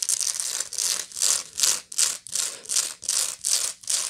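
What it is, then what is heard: Woven straw bag being scratched. Long nails scratch the rounded woven bottom of a medium, hollow woven straw bag. Each stroke is a dry, bright, rustling scrape with almost no low end, and the strokes repeat in a fairly steady rhythm of separate swells with short gaps between them.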